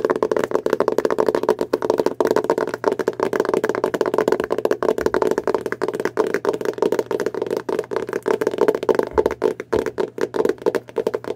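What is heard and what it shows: Long blue nails and fingertips rapidly tap and scratch the printed cardboard cover of a dark, closed hardcover Harry Potter spellbook held upright in both hands. The result is a dense, steady run of short, dry clicks and scrapes with a hollow midrange tone around 375 Hz and almost no deep bass or bright highs.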